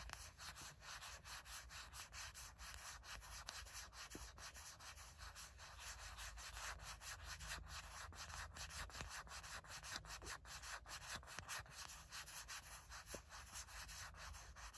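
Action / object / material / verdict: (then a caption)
scrape / silicone phone case on a smartphone / silicone / none. Long nails scratch and rub the back of a small grey matte silicone/plastic phone case on a smartphone with solid backing. The result is a steady run of quick, dry scratching strokes, roughly two or three a second, with a bright, hissy texture over a faint low rumble.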